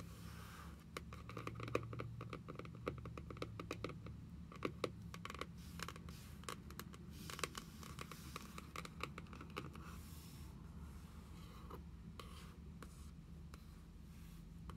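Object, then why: Cardboard notebook cover. Long nails tap quickly on the printed card cover of a closed journal, giving sharp, dry clicks over a low steady hum. Toward the end the tapping thins out and one nail traces the pattern on the cover with a soft, scratchy scraping. The sound stays quiet throughout.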